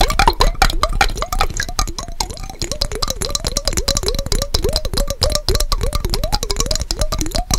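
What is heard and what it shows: A small clear glass mason jar with a yellow lid, partly filled with water, is held in both hands close to the microphone and tapped quickly with fingertips and nails on its glass sides. The result is a dense, fast stream of bright clicks and taps over a low rumble, with a ringing glassy tone that wobbles up and down in pitch as the water shifts.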